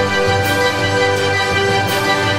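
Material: Nothing is struck.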